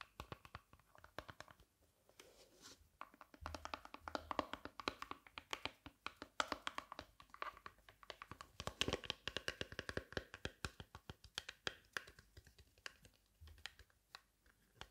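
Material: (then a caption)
Leatherette. Long nails tap and scratch the textured outer shell of a small, hollow, closed hard-shell sunglasses case covered in black leatherette, held in the hands. Quiet, dry clicks come in quick, dense runs with almost no ring, mixed with soft scratchy rubbing and a bright, crisp edge.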